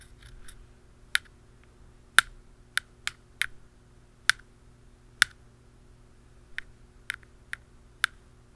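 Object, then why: Plastic canister lid. A pen tip taps a black plastic lid on a hollow round canister, giving 11 short, dry clicks at irregular intervals. The clicks are sharp and bright with almost no ring, over a faint steady low hum.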